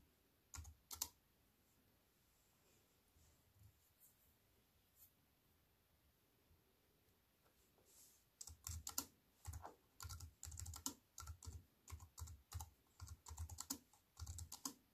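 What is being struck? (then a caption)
Aluminium-framed keyboard with plastic keys. A slim wireless keyboard with a silver aluminium frame and black plastic chiclet keys, resting on a wooden table, is typed on by fingertips with long white-painted nails. A few scattered, sharp clicking keystrokes are followed by a quiet stretch, then a steady run of rapid, bright clicks with a soft low thump under each press.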